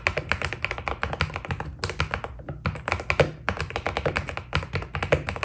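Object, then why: Mechanical keyboard with plastic PBT keycaps. Two hands type with their fingertips on a white Keydous NJ80 mechanical keyboard with PBT keycaps. The result is a rapid stream of short, dry clacks with a low thock body and bright clicky tops, broken by brief pauses.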